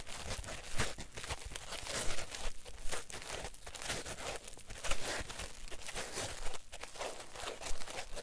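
A solid, palm-sized block of green polyethylene packing foam is squeezed and rubbed with thumbs and fingertips. It gives off irregular crinkly creaks and squeaky rubbing bursts that rise and fall over a low rumbling undertone.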